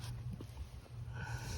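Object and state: Nothing is struck.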